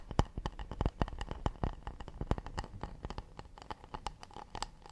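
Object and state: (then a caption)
Acacia wood plate. Fingertips and nails tap and lightly scratch the bottom and rim of a round, shallow acacia wood plate turned upside down. The quick, irregular taps are short and dry, each with a soft low thump and a bright clicky edge, over a faint scratchy rustle between them.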